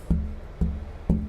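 Three taps on a thinned wooden guitar top (soundboard) each produce a low, ringing tap tone centered around 170 Hz that sustains briefly before the next tap. The top sounds good, with a clear, bell-like tone.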